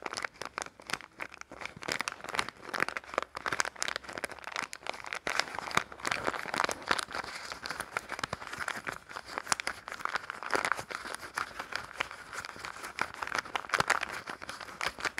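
A small, printed red and yellow plastic-film soap wrapper is rolled and crinkled between the fingertips. It makes a steady, dense stream of sharp crackles and snaps, centered in the midrange around 1 kHz with bright, high edges. The sound continues without pause for about 15 seconds, with little low end.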